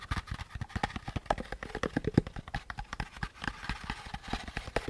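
Fingertips tap and scratch the curved surface of a hollow beige molded paper pulp packaging insert with a central groove. A rapid, uneven run of dull, hollow, low taps lands with very short decay, over a light scratchy rustle.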